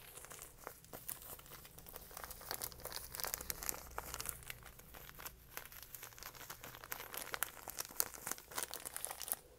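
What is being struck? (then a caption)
Small plastic pouch of dried herb. A small, flexible plastic catnip pouch with a printed label, filled with dried herb, is crinkled and rubbed between the fingers. It makes a dense run of bright, crackly crinkles and short sharp snaps over a faint low hum. The snaps cut off instantly, with no ring.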